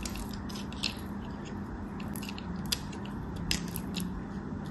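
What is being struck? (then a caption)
Bar soap cut with a metal blade. A small, solid, white round hotel soap bar, held in fingers with long manicured nails, is shaved and carved with a metal craft knife blade. Soft, steady scraping and cutting sounds run over a low background hum, with short, bright, crisp bursts as the blade bites in. Flakes of soap fall away.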